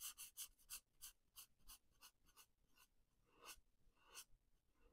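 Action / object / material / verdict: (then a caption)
scrape / felt-tip marker on a paper colouring page / paper / none. A felt-tip marker colors a paper coloring book page green, in close-up on the same page throughout. About nine quiet, bright, scratchy rubbing strokes of the marker tip on the paper come in a loose, uneven rhythm, roughly three per second, each ending almost at once. The pace is quicker at first and slows to longer single strokes near the end.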